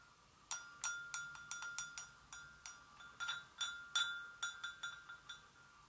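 A porcelain gravy boat is gently tapped in a quick, irregular run of light clinks. Each tap gives a short, bell-like ring centered near 1.4 kHz with bright overtones, fading within about a third of a second.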